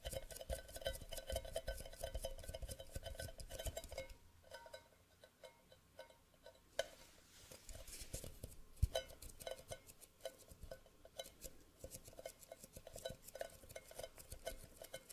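An empty, hollow, tall cylindrical cardboard Pringles can with a metal bottom and open end is held in one hand close to the mic and tapped with fingertips and nails. Rapid, dense taps give a hollow, resonant knocking with a steady mid-pitched ring and bright clicks from the nails. The tapping thins out and softens in the middle, then picks back up into a quick, even patter.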